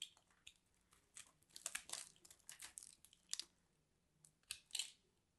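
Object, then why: Grated-soap ball. A fist-sized, solid orange and cream grated-soap ball is held in the hand while a metal blade scrapes and cuts into it, crumbling off shavings. Dry, bright crackling and crunching scrapes come in quick, uneven bursts with quiet gaps between them, with almost no low end.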